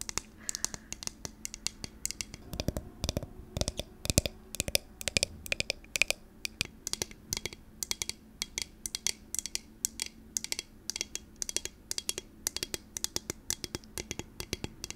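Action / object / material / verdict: tap / clear glass jar / glass / none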